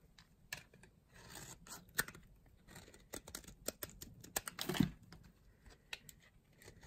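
A solid bar of dry yellow soap is held in the hand and cut into cubes and slices with a blade. Soft, crisp crunches and sharp snapping clicks come at an uneven pace, with a longer, louder rasping crunch near the end as a piece breaks away.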